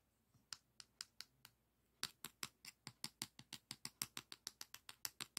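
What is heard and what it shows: A long, flat, thin beige emery board nail file is held in both hands while fingertips and nails scratch and rub its abrasive surface. There are 26 short, dry, bright scratches: a few spaced strokes at first, then a quick, steady run from about two seconds on. Each stroke stops at once with no ring, over a quiet background.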